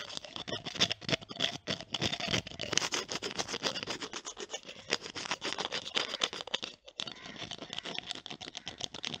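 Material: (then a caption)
Plastic. A small clear glass bottle with a green plastic screw cap is held close to the mic while long nails tap on and twist the cap. It makes a dense stream of quick, crisp, bright clicks and scratchy ticks with almost no low end, broken by a brief near-silent gap about two-thirds of the way through.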